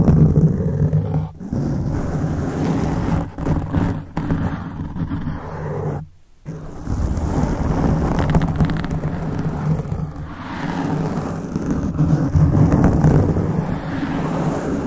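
Fingertips and nails scratch and rub a black foam microphone windscreen, with hands cupping it at times. The result is a dense, boomy rumble of scratching and rubbing, concentrated in the low end with little high content, broken by a brief near-silent gap around six seconds before it resumes.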